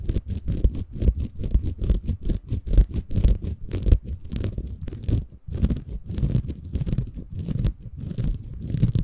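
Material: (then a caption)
Bamboo fiber. A small green porous bamboo fiber sponge, soft and compressible, is held in both hands above a Tascam recorder while fingertips scratch and squeeze it. The result is a close, low, muffled stream of rapid scratching and crunching strokes, with brief bright hiss on top. There is a short pause near the middle before the scratching continues.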